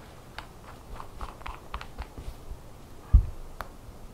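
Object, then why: Small glass nail polish bottle. A small glass nail polish bottle, open and full of lime-green polish with its black cap held nearby, is tapped and handled close up by long nails freshly painted green; rings on the fingers may add clinks. Quiet, short, dry clicks come in an uneven run, with one louder, duller knock near the end.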